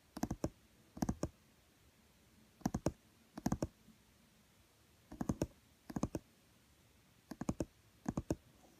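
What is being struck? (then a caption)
Laminated cardboard board book. Fingertips and nails tap on the green illustrated page of a small, thick, solid children's board book with laminated cardboard pages lying flat on a woven mat. Twenty-four short, dry clicking taps come in eight quick bursts of three, with a low thud body around 320 Hz and almost no ring, over a quiet background.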